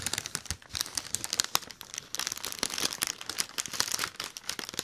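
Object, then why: Inflated mylar foil balloon. Fingertips scratch and crinkle a large, hollow, inflated silver mylar foil letter balloon close to the mic. The result is a dense run of bright, dry crinkling and scratchy crackles with almost no low end. Quick clustered bursts rise and fall in level throughout.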